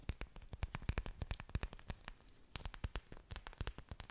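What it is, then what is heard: Orchid leaves tapped and scratched. Long dark nails scratch and tap the large, thick, waxy green leaves of an orchid plant with exposed aerial roots, held close in front of a microphone. A quick, uneven series of crisp taps and dry scratchy clicks follows, each with a soft low thump and a bright tick that stops almost instantly, over a quiet, faintly rustling background.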